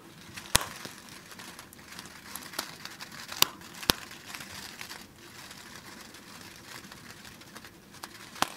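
A small yellow printed plastic snack wrapper is held right next to a grey microphone windscreen and crinkled and scratched with fingertips. It makes a steady, bright, close crinkling and crackling, with a few sharp, loud snaps standing out above the soft rustle.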